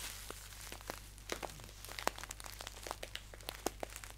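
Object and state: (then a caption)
Paper tea pouch. A green paper tea pouch standing upright is crinkled and tapped by fingertips. The result is a quiet, irregular stream of crisp, dry crackles and short taps, with bright papery edges over a faint low hum.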